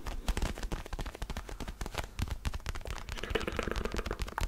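Fingertips tap and scratch the textured rubber surface of a small orange mini basketball with black seam lines, held in both hands close to the microphone. A dense, rapid run of short, dull low thumps blends with a dry, scratchy rustle that grows a little brighter toward the end, each tap dying away almost instantly.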